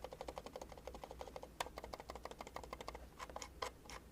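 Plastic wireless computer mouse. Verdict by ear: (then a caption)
Solid. A plastic wireless computer mouse is shaken and clicked to check for loose parts, giving a rapid series of soft, quiet ticks and light taps with a few louder snaps. Nothing rattles or wobbles inside, the mouse feels firm and solidly built, and the clicks are very quiet.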